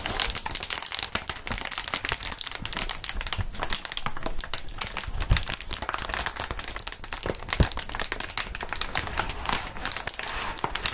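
Gloved hands hold, squeeze and flex a large, clear plastic air column cushion wrap, a packaging sheet of hollow, inflated air tubes. Dense, continuous crinkling and crackling fills the clip, bright and broadband with a low rumbling undertone. Two sharper, louder snaps stand out near 5.3 and 7.6 seconds.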